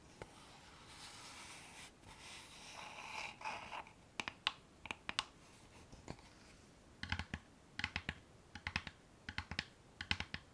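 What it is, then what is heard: Wooden box tapped and scratched with nails. Long painted nails scratch across a small, hollow, dark wooden box with a metal clasp, held up in the hands, producing a soft, bright rasping hiss for the first few seconds. The nails then tap its lid and sides in an irregular series of short, crisp clicks with a faint hollow knock beneath them, each dying away almost instantly.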